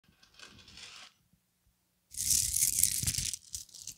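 A small gold-colored plastic bead chain necklace of solid small beads is swung, piled on a table and shaken and rubbed between cupped fingertips, with some nail contact. A soft, bright rattle is followed by a short pause, then a louder, dense clattering and rustling of beads with scattered sharp clicks.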